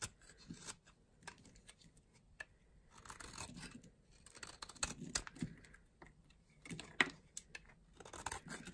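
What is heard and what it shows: A solid, light green bar of dry soap, held in the hand, is sliced with a blade. Quiet, crunchy scraping and brittle snapping come in uneven bursts, with sharp, bright clicks standing out above a soft background.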